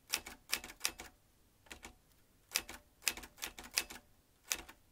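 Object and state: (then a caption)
Manual metal typewriter. Fingertips of both hands type on a vintage manual metal typewriter with round metal-rimmed keys and metal typebars. Sharp, bright clacks come in quick clusters separated by brief pauses. Each strike is dry and short, with very little low end.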